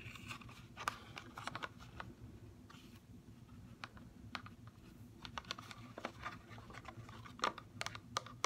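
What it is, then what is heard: Plastic blister pack tapped with fingernails. A CoverGirl mascara blister package, a clear plastic shell over a cardboard backing with the mascara inside, is tapped with long fingernails, first lying flat and then set upright. Many short, sharp, bright plastic taps and light clicks ring out at irregular intervals over a low steady hum. The taps die away almost instantly.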